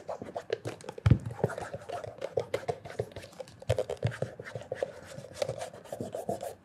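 Fingertips wrapped in cloth rub quickly back and forth over the toe and heel of a hollow black leather loafer with a stacked leather heel. The result is a dense run of short, dry scratchy strokes with soft low thumps and a faint bright hiss, each stroke dying away almost instantly.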